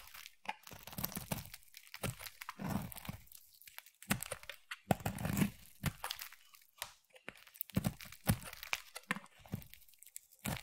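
A utility knife blade scrapes and shaves the edge of a solid rectangular, translucent amber striped glycerin soap bar. It makes a quiet run of short, crisp crackling and crinkly tearing strokes with a soft, low body. Each stroke stops dry, with brief pauses between the bursts.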